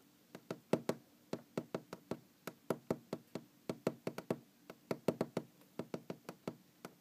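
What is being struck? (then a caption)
Wooden object. A wooden object is knocked and tapped in a quick, uneven run of about 31 sharp, dry knocks. Each knock has a hollow, woody midrange tone around 390 Hz and dies away almost instantly. Some hits are louder than others.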